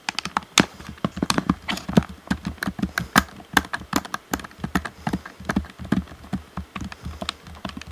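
Fingertips tap and click on the d-pad and hollow shell of a black plastic Xbox One controller, producing a quick, irregular run of about 34 short, dry clicks and taps. Each hit dies away almost instantly, with a low hollow thump under a bright plastic click.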